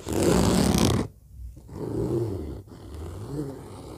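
Fingers of both hands rapidly tap and scratch the fabric top of a large, hollow, orange fabric-covered zippered suitcase lying flat. A loud, dense, bright scratching rush fills the first second, then gives way to quieter, low, hollow thumping and rubbing.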